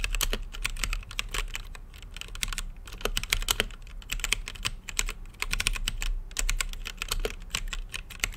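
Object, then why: Mechanical keyboard with plastic keycaps and acrylic case. Fingertips type steadily on an RGB-lit mechanical keyboard with plastic keycaps and a clear acrylic case. The key presses come as a rapid run of short, bright clacks with almost no ring, over a constant low hum.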